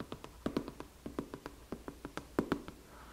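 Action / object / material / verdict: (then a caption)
tap / cardboard product box / cardboard / none. Long nails tap 17 times on a medium white Foreo Luna cardboard box that has a clear plastic window with the device inside, striking the cardboard beside the window. The taps are quick, dry and hollow, centered around 280 Hz, and end in a faint, soft scratch across the surface.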